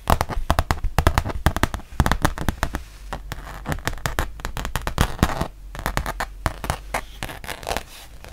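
A thin, solid rubber-backed fabric mouse pad, first its textured back and then its printed front, is tapped and scratched with long painted nails. Rapid dry clicking taps with a low thud come in dense bursts, mixed with crackly scratching. Later the sound turns softer and more continuously scratchy, and each tap dies away almost instantly.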